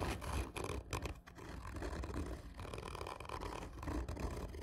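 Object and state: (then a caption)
Cardboard tube. Long nails scratch and tap rapidly on a hollow, black textured cardboard whisky tube. The result is a dense, continuous scraping rumble that stays mostly low and hollow, with little brightness and no clear pauses between strokes.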